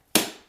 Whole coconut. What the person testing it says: continue hitting it and then it sounds Hollow